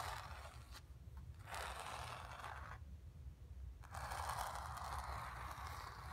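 Long nails scratch and tap across the surface and edges of a stretched, painted cotton canvas lying on carpet with a hollow back. Dry, rasping scratches centered in the midrange with a bright hiss come in bursts, separated by brief quieter pauses. A low, steady rumble sits underneath throughout.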